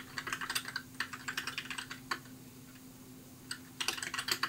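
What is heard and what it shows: Fingertips type on a compact white mechanical keyboard with plastic keycaps, producing quick bursts of bright, clacky keystrokes. The typing pauses for about a second in the middle before resuming, over a faint steady low hum.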